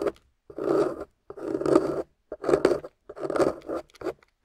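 A small metal loop carving tool scrapes across a solid, water-soaked, gold-painted beige clay bar. Repeated rough, grainy rasping strokes rise and fade, each with a midrange scratchy texture and brief gaps between passes, ending with a few shorter scrapes.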